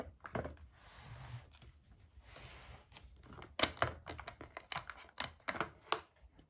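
Long painted nails held on both sides of a red and white plastic steam iron, a hollow housing with a water tank, resting on an ironing board, scratch slowly across its casing and then tap its casing and handle. Soft hissing scrapes give way to a quick series of sharp, dry, bright clicks that stop at once with no ring.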